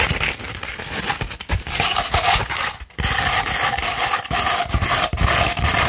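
A coarse 60-grit sandpaper sheet, held flat and then rolled into a cone, is scratched with long red nails. It makes a dense, gritty rasping with bright, hissy texture over low rumbling strokes. There is a brief pause just before the three-second mark, then the scratching resumes steadily.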